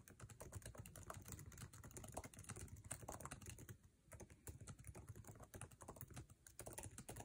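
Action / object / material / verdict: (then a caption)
tap / plastic laptop keyboard keys / plastic / none. Fingertips of both hands type fast on the backlit, low-profile scissor-switch keyboard with plastic keycaps of an aluminum MacBook Air resting on a table. A rapid, dense stream of short, dry key taps with a low thud and bright clicky edges fills the clip, easing briefly around the middle before picking back up.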